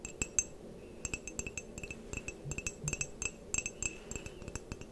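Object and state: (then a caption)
Ceramic mug tapped with fingernails. Long painted nails tap all over the body and rim of an empty-looking, hollow white ceramic mug with a printed pattern. About 25 quick, irregular taps sound as bright, high clinks with a very short ring, faint over a low, steady background hiss.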